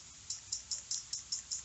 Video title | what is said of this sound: Fixin Shit For Profit Ep84 (Ryobi Pressure Washer) | you should be able to hear your butterfly valve in there. If you don't hear it when you shake it, something's wrong.